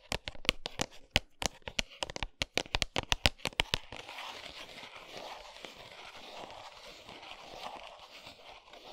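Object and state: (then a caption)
Cardboard chocolate box, tapped and scratched. Long almond-shaped nails tap a flat 100 g Lindt milk chocolate cardboard box, bar still inside, lying on a towel, in a quick run of sharp, bright, dry clicks for about four seconds. The nails then switch to steady scratching across the cardboard, a continuous, rough, hissing rasp that fills the rest of the clip.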